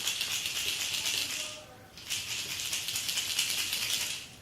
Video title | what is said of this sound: Berkley Crankbaits! | what you're hearing is simply the rattles